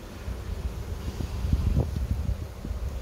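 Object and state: Nothing is struck.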